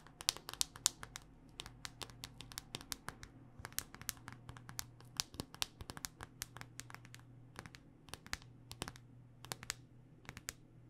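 Long dark-painted nails tap a handheld smartphone in a solid black rugged hard-plastic case. A quick, irregular series of sharp, bright plastic clicks plays over a faint low hum, with each click dying away almost instantly.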